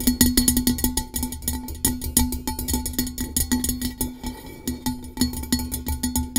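Long nails tap rapidly on a blue-coated hollow metal tumbler. Quick, unevenly spaced bright clicks each bring out a short metallic ring with a steady low-mid tone, over a soft low rumble.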